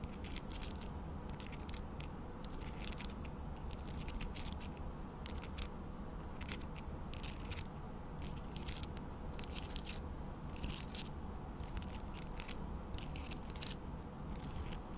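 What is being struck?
Small amethyst crystal cluster.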